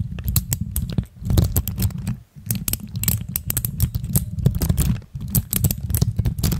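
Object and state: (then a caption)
Plastic keycaps on mechanical switches. Both hands press, click and tap a pastel plastic keycap dome on clear mechanical switches with fingertips and long nails. Dense, rapid clacking mixes a deep, thumpy low body with sharp, bright, short clicks. The flurry briefly dips to near silence around 1, 2.3 and 5 seconds before resuming.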